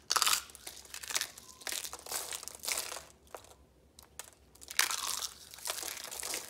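Thin, brittle dried red soap curls rolled into roses are squeezed and crushed by hand into flakes on yellow paper. Dense, bright crunching and crackling comes in bursts, with a quieter stretch midway before the crushing picks up again.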